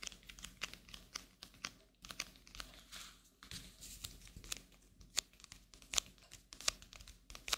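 A single thin, flat coated-paper playing card, the king of hearts, is held in both hands and scratched, flexed and crinkled with long nails. The result is a quiet, bright, papery crinkling broken by many sharp, dry clicks and ticks with almost no low end and no ring.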